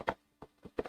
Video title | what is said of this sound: MSQC Unboxing December 21-25, 2025 | Rattles like an Amazon box. It's a big box with a little thing. >> With a little thing in it.